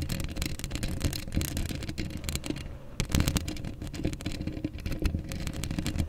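Long acrylic nails scratch the hollow steel mesh grille of a black microphone with both hands, making dense, rapid scratching and clicking. A heavy low rumble sits under brief bright ticks, with a short quieter lull just before the scratching picks up again.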